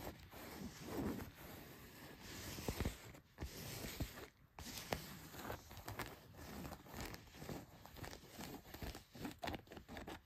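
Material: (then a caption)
Denim. Long nails scratch the cotton fabric of blue denim jeans, working over the leg and the back pocket. Quiet, rough rasping strokes come in uneven bursts with a soft, low-heavy texture and brief brighter scrapes.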